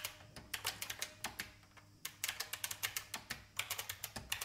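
Fingertips type on a vintage IBM mechanical keyboard with plastic keys, heard up close. About 26 sharp, bright clacks come in quick bursts, with a quieter pause partway through. Each keystroke dies away almost instantly.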